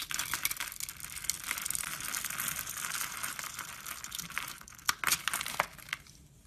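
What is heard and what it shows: A red-handled knife scrapes and cuts a solid rectangular brown laundry soap bar held in both hands. The result is a steady dry, crinkly scraping hiss, mostly bright and high, with sharper crackling flicks near the end before it fades.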